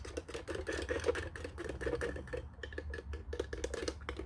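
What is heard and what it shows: Fingernails scratch and rub along the top edge and casing of a white, hollow plastic desk telephone with its handset resting on the cradle. Quick, dry scratching and clicking bursts run continuously, carrying a hollow plastic tone around 500 Hz. Each burst stops almost at once, over a soft low rumble.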